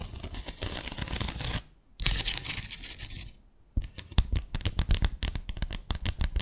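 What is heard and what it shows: Long acrylic nails scratch along a small, flat bamboo slat placemat with fabric edging that lies on a glitter surface, making dry, bright rasping strokes broken by two short pauses. The nails then switch to quick, crisp taps across the slats, each with a short, low thump.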